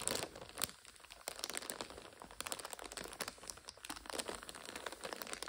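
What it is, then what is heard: Plastic-wrapped instant noodle multipack. Long nails scratch and tap a full purple five-packet instant noodle multipack in its plastic overwrap while fingers press it, making it crinkle. The result is a steady stream of bright, dry crinkles and sharp little clicks with almost no low end, each crackle dying away instantly.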